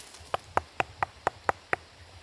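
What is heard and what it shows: Seven evenly spaced knocks on a fallen tree trunk that has been partly stripped of its wet, slimy, swamp-smelling bark. Each knock is short and dry, with a midrange tone around 800 Hz. The trunk sounds solid.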